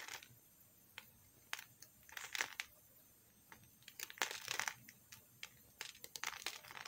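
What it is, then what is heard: Bar of soap being scraped with a knife. A metal knife scrapes and shaves a small solid chunk of pink soap held in the fingers. Irregular bursts of dry, crisp, bright scraping come and go over quiet gaps, with almost no low end and no ring after each stroke.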